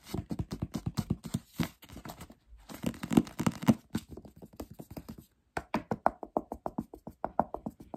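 A paperback novel's glossy paper back cover is tapped quickly with the fingertips and short nails of both hands. The result is a rapid, uneven patter of soft, dry, dull taps, low and muffled with almost no ring, broken by a brief pause before the tapping resumes.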